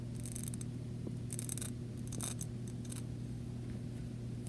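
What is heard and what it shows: Long nails tap and scratch the side of a small clear glass jar with bead decoration, holding paper pieces and lying on carpet. Quiet bright, dry scratching bursts come and go over a steady low hum.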